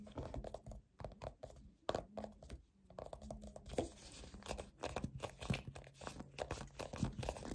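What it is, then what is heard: Plastic moisturizer tube. A white soft plastic peptide moisturizer tube with a black cap, hollow and filled with cream, is gripped and scratched with fingertips and short nails. Dozens of quick, quiet crinkly scratches and dull taps follow in uneven bursts, mostly low and muffled with little brightness. A faint low hum runs underneath.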